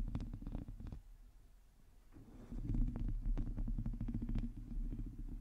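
Long teal nails on both hands scratch the hollow, domed metal mesh grille of a black microphone. The result is a rapid run of dull, low scratchy taps and rumbles that is mostly deep, with faint crisp clicks on top. The sound eases into a quieter stretch before building back up louder and busier in the second half.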